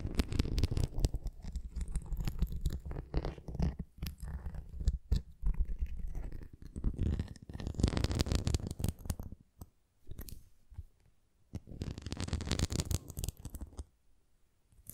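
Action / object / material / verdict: scrape / plastic flying disc / plastic / none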